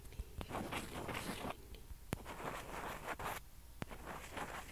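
A single small, hollow white plastic ping pong ball is held in one hand and rubbed and scratched with long fingernails. Soft, dry scratchy rustling comes in uneven bursts, broken by a few sharp, short clicks.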